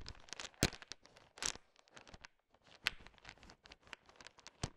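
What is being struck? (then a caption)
Heap of hard sugar-shelled chocolate candies. A heap of small, solid, hard-shelled, colorful sugar-coated M&M candies is pushed and stirred with a wooden stick. The candies rattle and click against one another in a quick run of short, bright, crackling bursts with almost no ring, separated by brief quiet gaps.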